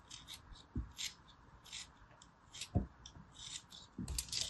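A small solid ball of yellow kinetic sand, held between the fingertips, is cut and scraped with a small metal blade. Soft, gritty rasping alternates with short bright scrapes, and a few low dull thuds stand out as the blade presses through.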